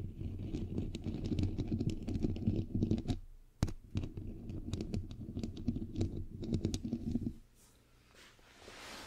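Long pink nails and the fingertips of both hands tap and scratch a bare, hollow, fist-sized white metal microphone head with a perforated mesh grille. The result is a dense, boomy patter of low thumps and scratchy clicks that stops briefly, resumes after one sharp snap, and then fades to a faint hiss.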